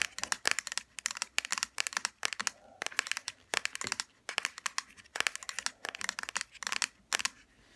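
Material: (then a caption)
Plastic. Long fingernails tap and scratch across a small pink plastic hair serum bottle lying on its side and its black plastic cap. The result is a fast series of sharp, dry clicks and crinkly scratches in bright high tones, coming in quick bursts with short pauses between them.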